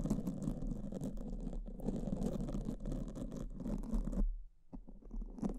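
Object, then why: Foam microphone windscreen. Pink silicone spoolies held by fingertips brush and scratch two black foam microphone windscreens in repeated strokes. The result is a dense, low, muffled scratching rustle that runs nearly continuously, drops out briefly near the end, and then resumes.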